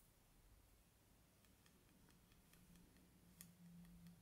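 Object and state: Thin wooden bamboo skewers.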